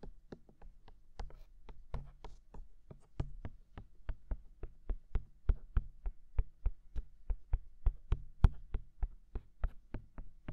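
A fingertip taps on the silicone ears of a binaural microphone, making about three dozen soft, dull thumps at an uneven pace. Each tap is a short, deep, muffled knock that dies away almost at once, with faint bright clicks on top.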